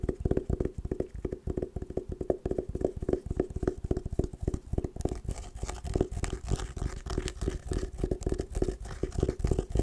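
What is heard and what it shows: Long nails rapidly tap and scratch an oval, hollow hard sunglasses case covered in patterned woven fabric, held upright. The quick, irregular taps are dull and bass-heavy with a short hollow ring, and a brighter scratchy texture from the nails dragging across the weave builds up in the second half.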